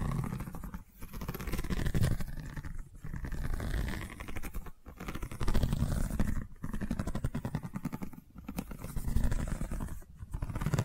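Long nails scratch a long cylindrical seagrass tube covered in a woven straw weave. The result is a dense, low, rumbling rasp that runs in sweeping strokes, broken by brief silent pauses roughly every two seconds.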